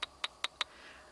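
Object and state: Loose battery rattling in metal flashlight tube.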